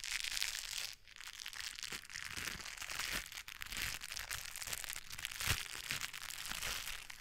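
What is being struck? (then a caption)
Gloves with textured foam or rubber fingertips. White gloves with blue textured foam or rubber fingertips are pressed palm to palm, and the coated fingertips rub against each other just above the microphone. The result is a steady, dense, crinkly scratching and rustling, bright and hissy with little low end. It dips briefly near the one-second mark and has a sharper crackle around five and a half seconds.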